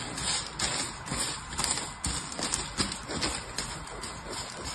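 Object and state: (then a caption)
Grated soap shavings. Fingertips with nails rub, push and pinch a loose pile of purple grated hard soap shavings on a patterned paper surface. The result is a steady, bright, crisp rustling and crunching, with uneven soft clicks and scratches as the shavings shift and crumble.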